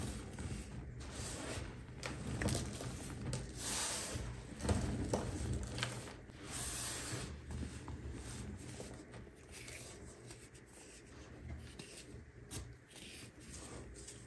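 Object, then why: Pile of baking soda powder. Bare fingertips press, rub and dig into a large loose pile of pinkish baking soda powder with small crumbly lumps on a flat tray, then a hand picks up a small lump. Soft, muffled crunching and squeaky rubbing come in an uneven stream over a low rumble, with faint bright crackles on top. The sound is quiet and gets slightly softer toward the end.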